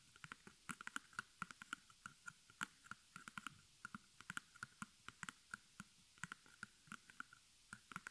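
Long nails tap and scratch across the front of a small square white cotton canvas, embroidered with black thread and stretched over a hollow wooden frame held in both hands. A rapid, irregular series of quiet, dry taps with very short decay sounds out, each with bright clicky edges over a faint ringing tone near 1.5 kHz and soft scratchy texture between hits.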